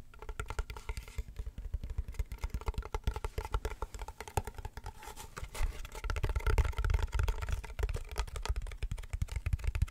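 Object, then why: Woven wicker box with a textured lid. Fingernails tap and scratch the woven wicker edge and black textured top of a medium hollow wicker basket box with a black lid. The result is a rapid, irregular stream of dull, low-heavy taps with very short decay and faint scratching. The tapping grows louder and denser in the second half.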